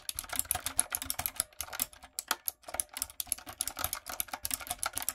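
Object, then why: Mechanical keyboard with plastic keycaps. Long nails and fingertips type steadily on a retro typewriter-style backlit mechanical keyboard with round plastic keycaps. Rapid, bright, clicky keystrokes follow one another with very short decays, pausing briefly once in the middle.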